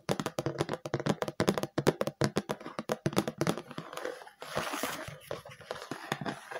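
Long light-purple painted nails tap rapidly across the flat surface of a round, hand-sized red plastic food container lid, thin and hollow and held up in the air. The dry, crisp taps come in a quick run for about four seconds. They give way to a brighter, hissing scratch across the plastic, then a few softer taps.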